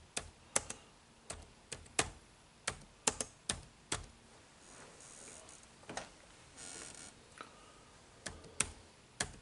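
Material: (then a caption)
Plastic. Fingertips type on the dark plastic keys of an HP laptop keyboard, giving about 16 sharp, bright clicks that stop almost instantly. Between the taps come quieter, brushing stretches of softer key contact.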